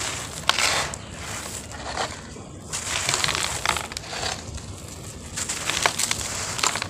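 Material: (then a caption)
Cement sand. Solid, crumbly lumps of dry grey cement-sand, taken from a pile of lumps and loose powder on a floor, are crushed and crumbled between the bare fingers and palms of both hands. The result is a steady, bright, gritty crunching and crackling, with sharper crunches rising out of a soft, sandy hiss as the chunks break apart.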